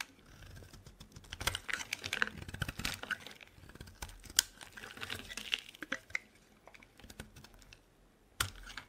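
A metal blade carves into a solid lilac bar of soap held in the hand, scraping off curls. The result is a quiet, steady run of dry, crisp scraping and crackling ticks, mostly bright with little low end, and a sharper snap near the end.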